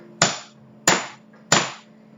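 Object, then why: Wooden table struck with a stick. A wooden table is tapped hard with a stick three times, each tap a sharp, bright knock that fades within a fraction of a second, to show how more force changes the sound. A faint steady low hum runs underneath.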